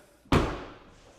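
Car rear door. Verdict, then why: Solid. A rear door of a BMW iX electric SUV is shut with a single solid, low thud that fades quickly. It sounds much better than the front door.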